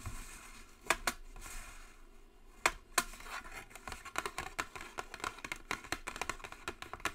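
Long nails tap the top and edges of a flat white Jisen cardboard cosmetic box. Dry, bright clicks come in an uneven run, with a few louder taps early on, then quicker, lighter ones that die away at once.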